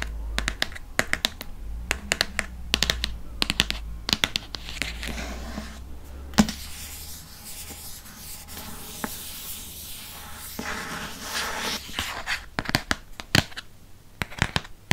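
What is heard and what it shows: Fingernails scratch and tap the spine and glossy cardboard front cover of a hardcover Harry Potter paper book. Sharp, bright clicks from the taps come in quick clusters between softer, hissy scratching strokes, over a faint steady low hum.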